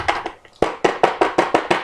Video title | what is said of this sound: comment reparer machine senseo philips (bouton clignote rapidement) | il faut essayer de secouer, taper quelques fois. Vous entendez qu'ici, il s'est débloqué.